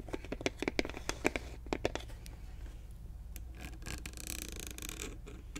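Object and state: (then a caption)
Plastic mouthwash bottle, full of liquid. Long nails tap and scratch a large clear plastic Listerine bottle with a grey cap, mostly full of liquid. The first two seconds bring a run of crisp, sharp plastic taps with a hollow knock. These then give way to a steady, bright scratching rasp over a low background hum.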